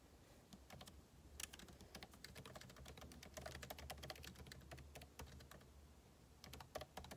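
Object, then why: Laptop keyboard with plastic keycaps in an aluminum case. Two hands type with their fingertips on a backlit MacBook Pro laptop keyboard, its plastic keycaps set in a hollow aluminum body. Many quick, dry key taps patter on almost continuously over a steady low hum. Each tap is crisp and bright and stops instantly, with a few harder clicks standing out.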